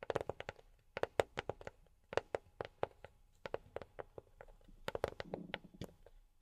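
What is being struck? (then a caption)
Box tapped with silicone rubber fingertip pads. A box is tapped with silicone rubber pads on the fingertips, giving quick bursts of soft, dry taps with a mid-pitched knock around 550 Hz. Each tap dies away almost at once with no ring. Near the end, a faint low hum sits under the tapping.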